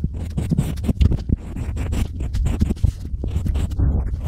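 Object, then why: Unfired pottery clay slab. A pointed stylus scratches and carves lines into a small, flat, solid slab of pink-painted unfired pottery clay resting on a white table, while fingers brush the crumbs away. The result is a steady run of dry, scratchy scraping with many short gritty bursts, weighted heavily toward low, rumbling tones. Each stroke dies away almost instantly.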